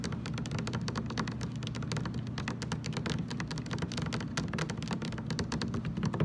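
A large, hollow, blue translucent plastic water jug standing upright on a table is tapped on its sides with the fingertips and short nails of both hands. The rapid, continuous tapping makes dense, crisp clicks over a low, hollow resonance around 156 Hz, holding a steady level throughout.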